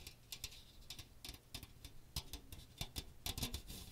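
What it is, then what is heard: Metal mesh strainer scratched by fingertips. Fingertips rub and scratch the fine metal mesh dome of a small strainer with a plastic rim and teal plastic handle, held close to the microphone. Quick, dry, bright scratchy ticks come in irregular bursts over a faint low rumble, each one stopping almost instantly.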